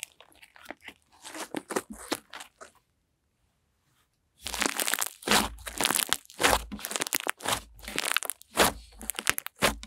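Mint green butter slime is stretched out, then held and squeezed in both hands, giving quick runs of soft, bright crunching and crinkling pops. The bursts pause into near-silence for over a second, then return louder and denser through the end.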